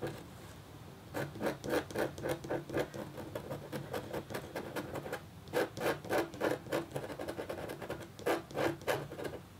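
The metal tip of a red stylus makes short scratching strokes across a thin, solid, flat black-coated copper-foil scratch art board. Quick bursts of dry, scraping strokes come in clusters with brief pauses, quieter in the middle and louder toward the end. Each stroke has a mid-pitched rasp with bright, high edges.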